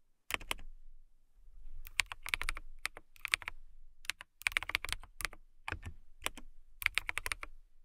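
Long-nailed fingers type on a transparent mechanical keyboard with clear plastic keycaps. Bursts of bright, crisp clicking and tapping keystrokes come in uneven clusters with brief pauses and very short decay. A soft low thump sits under the clicks.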